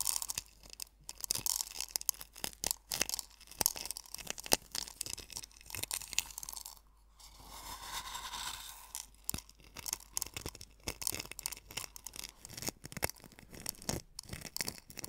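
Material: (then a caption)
Salt. Fingers rub and press coarse sea salt crystals in a small hollow wooden bowl, producing dense, bright crunching and scratching crackles. Around the middle, the crunching briefly gives way to a softer, smoother rubbing before the sharp crackles return.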